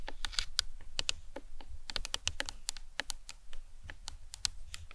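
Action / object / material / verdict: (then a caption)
tap / plastic anatomical skull model / plastic / none. Long nails tap and scratch the top of the cranium of a life-size, hollow plastic anatomical skull model. The result is a quick, irregular run of light, bright clicks with dry, instant decay over a faint low hum.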